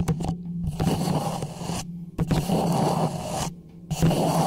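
Fingertips and nails scratch and tap the sides of a small, hollow orange plastic traffic cone with a silver reflective band, held upright over the microphone. Coarse, resonant scraping with a hollow low hum comes in rough bursts separated by brief silences, with a few sharper taps.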